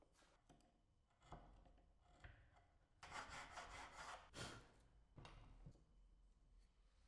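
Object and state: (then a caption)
Wooden block being scraped. A steel chisel is worked by hand across a small, solid, light-coloured wooden block, a carving blank for a 1970 Ford Mustang Boss 302 car model, clamped on a pink cloth, and the block is then lifted in both hands. Dry, rasping scrapes and shaving strokes come in uneven bursts, with the loudest, brightest strokes in the middle of the clip and quieter scraping before and after.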